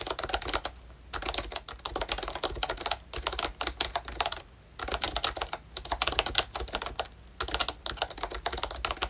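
Fingertips type on a pink plastic ROYCHE Disney Mickey Mouse retro membrane keyboard with round keycaps and a hollow body. Bursts of quick, bright, clacky keystrokes with very short decay are separated by brief pauses, with a low steady hum underneath.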